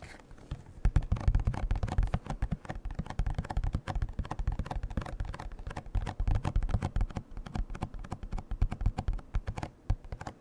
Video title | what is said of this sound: ASMR Eating DELICIOUS Cream Cheese Wontons Mukbang (Whispered Rambling & Box Tapping) | This is a good box for tapping. It's a little bit of a thicker cardboard